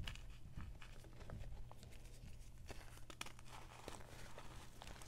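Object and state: Gym chalk chunks being crumbled.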